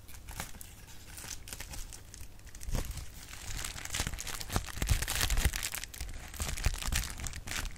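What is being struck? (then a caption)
Plastic bubble wrap sheet. A clear plastic bubble wrap sheet is crumpled and popped with fingers, giving a steady bright crinkling with irregular sharp pops and a low rumble underneath. The pops get louder and denser toward the middle of the clip.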